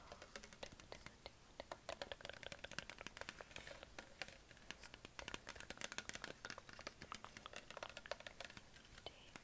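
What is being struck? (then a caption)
Plastic PET water bottle. A hollow green Perrier PET plastic bottle is tapped and scratched with fingertips and nails on its body and neck. Dozens of quick, dry, bright taps and crinkly scratches follow each other at a steady, quiet level, each dying away almost instantly with no ring.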